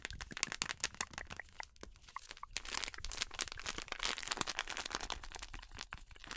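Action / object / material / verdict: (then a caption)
scrape / plastic bag of corn flour / plastic / none. A full yellow plastic bag of PAN corn flour is crinkled and scratched with long nails. Dense, rapid crackling and crunching fills the clip, bright and sharp with almost no ring between the many quick clicks. It swells into a louder stretch of busy rustling in the second half.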